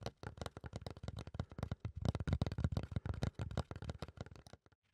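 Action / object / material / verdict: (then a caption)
scrape / fiberboard panel / fiberboard / none. Fingertips and nails scratch a solid, flat brown fiberboard or thick cardboard panel in quick, irregular strokes. The result is a dense run of short, dry, muffled scratching bursts with a low, papery thud and no ring. The bursts peak in the middle and thin out near the end.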